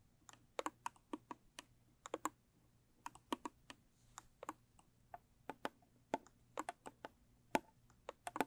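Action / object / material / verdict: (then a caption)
tap / small rigid cardboard gift box / cardboard / none. Long stiletto nails tap the sides and lid of a small, square, rigid cardboard gift box with a blue textured covering, kept closed. About 29 quick, crisp clicks come in an uneven rhythm, each dry and bright and dying away almost instantly, over a quiet background.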